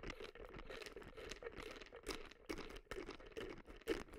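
Long nails tap fast across a hollow white plastic supplement bottle with a label, held in both hands. The result is a quiet, dense patter of crisp clicks with a hollow, mid-low body and a faint crinkly edge, each tap dying away almost at once, with a few louder taps standing out near the end.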